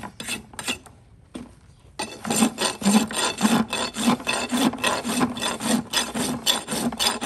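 A steel rasp is scraped back and forth along the outer wall of a shod horse hoof of solid keratin, set on a metal hoof stand, and shavings fall off. After a few scattered strokes and a brief quiet pause, the bright, gritty rasping settles into steady strokes just under two per second. Each stroke carries a low tonal undertone near 215 Hz.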